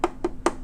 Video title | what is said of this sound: Comparing the Wolverine 720P Transfer Machine to the Newer 1080P Pro: With Scanned Results! | this front facing is all metal whereas the other unit was plastic